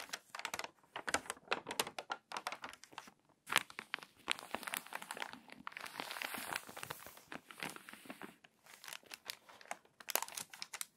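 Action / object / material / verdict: scrape / glossy paper magazine pages / paper / none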